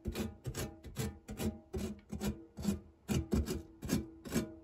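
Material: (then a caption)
Metal. A printed silicone spatula is rubbed flat back and forth across the textured base of a non-stick metal tart tin. It makes a steady series of soft, rasping strokes, each a short scraping swell with a low, hollow tone around 200 Hz and a faint high hiss, fading quickly between strokes.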